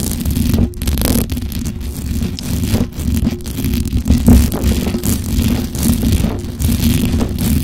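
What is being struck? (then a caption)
Metal mesh microphone grille. Long acrylic nails on both hands scratch the hollow metal mesh grille of a black microphone, producing a continuous, dense, low-heavy rumble. Quick rasping scrapes and rattles shift in texture throughout, with brief bright crackles over a steady boomy low end.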